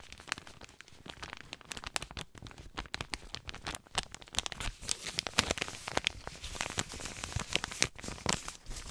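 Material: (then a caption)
Paper. A folded white paper compress pouch is rubbed and crinkled between the hands. A dense, continuous stream of dry, bright crinkles and crackles rises and falls, with sharper snaps scattered throughout and almost no ring after each one.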